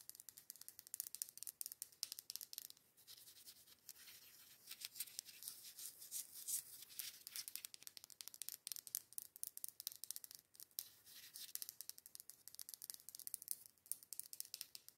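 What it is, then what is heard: Glass candle jar tapped with fingernails. Long acrylic nails tap rapidly on the side of a dark-green, labeled matte green glass candle jar filled with candle wax as it is held and turned. The result is a quiet, dense stream of crisp, bright clicks and scratchy taps with almost no low end, easing into a softer, steadier rustle for a moment before the quick tapping picks back up.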